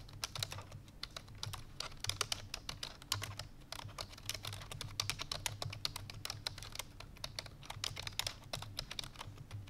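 Fingertips with long painted nails rapidly press the keys of a full-size black plastic computer keyboard resting on a white fur rug. The result is a dense stream of fast, bright, clicky typing taps, each dying away almost instantly, over a steady low hum.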